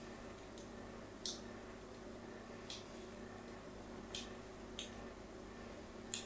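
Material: Soap.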